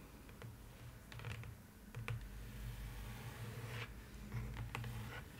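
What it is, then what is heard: Paper-lined cardboard box. Long nails tap rapidly on the inner bottom of an open, empty cardboard box lined with polka-dot paper. The taps are quick, dull, hollow knocks with a low boomy body and short bright clicks, each fading fast.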